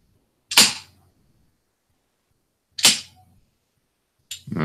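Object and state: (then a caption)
Baton struck on axe handle, sounds metallic rather than like wood. A police baton and a hickory axe handle are smacked together, held by the other end, to test whether they sound like a Bigfoot wood knock. Sharp, bright knocks ring briefly and are spaced apart by silence. The result still sounds like metal clanking rather than wood.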